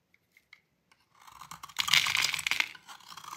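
A metal utility blade cuts into a dry, solid rectangular blue Fa soap bar, breaking off brittle chunks. Four faint, separate ticks come first, then a steady bright scraping crunch builds and grows louder, rich in high, crackly texture around 2 kHz with almost no low end.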